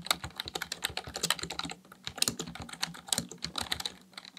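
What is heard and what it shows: Fingertips type rapidly on a black plastic full-size computer keyboard resting on a desk. About 27 short, crisp, bright plastic key clicks fire in a quick, uneven stream, with a brief lull near the middle. Each click dies almost instantly, leaving little low-end thump.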